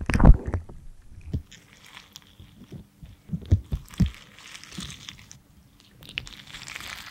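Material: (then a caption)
Wax. A thin metal loop tool scrapes and digs into the tip of a small, solid red lipstick bullet of soft waxy cosmetic, carving off crumbly chunks. It makes soft, dull, crunchy scrapes and muffled low thumps in uneven bursts, with a loud start and quieter strokes after. Faint high scratchy hiss runs between them.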